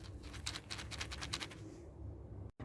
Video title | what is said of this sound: 🟡Infusión de ACACIA NEGRA ☕ - Sustituto del Café (SWEET / HONEY LOCUST Coffee Substitute) | ci sono i loro semi che se li scuotiamo si sentiranno